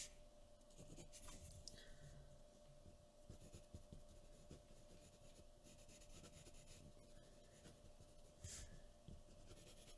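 A pencil makes scratching and rubbing strokes on a flat white paper drawing sheet resting on a wooden table. The quiet, continuous rasp sits mostly in the low range, with a steady faint hum underneath. Brief brighter scratches stand out around 1 and 8.5 seconds.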